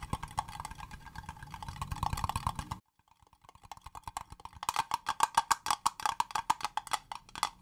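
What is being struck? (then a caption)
Small acrylic plastic box. Long fingernails tap quickly across the faces of a small, hollow, clear green acrylic cube box, making dry, clicky plastic ticks with a hollow tone around 930 Hz. A dense patter of taps stops abruptly for a brief silence, then resumes as sharper, louder, evenly spaced taps that die away almost instantly.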